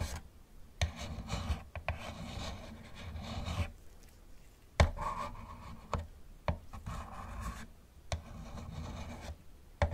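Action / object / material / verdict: scrape / plastic toy car / plastic / none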